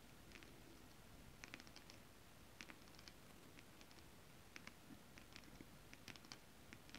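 Long acrylic nails scratch flat holographic mermaid scale-print fabric. Quick, bright scratchy ticks and clicks come in scattered clusters over a quiet, steady low hiss and rumble, and each one stops almost at once.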